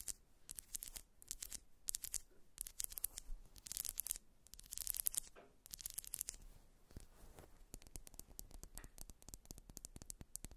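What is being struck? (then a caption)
Ribbed wax pillar candle. Long acrylic nails scratch along the ridges and scalloped top of a held grey ribbed solid wax pillar candle. Bursts of dry, bright, raspy scratching come in quick strokes with almost no ring, giving way to a steady run of fine clicking scrapes toward the end.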